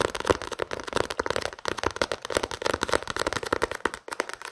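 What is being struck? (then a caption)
Paperback book, paper and card cover. A small paperback novel has its paper cover and spine tapped and scratched with fingertips and nails. Rapid, dry, crackling taps and scrapes follow one another closely across the whole clip, with a papery midrange and a bright edge.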